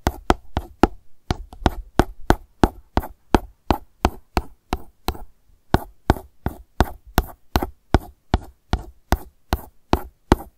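A long acrylic nail tip taps rapidly on a hollow, light blue plastic sunscreen gel bottle lying on its side. Thirty short, dry clicks follow one another in quick, uneven succession, each with a low hollow knock and a bright tick that stop almost at once.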